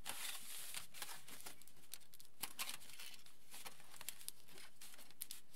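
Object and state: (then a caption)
Aluminium foil sheet being rubbed. Fingertips rub and scratch a large, flattened aluminium foil sheet, then hands smooth its edge. The result is a quiet, steady run of bright, crinkly scratching with many small, sharp crackles popping out along the way.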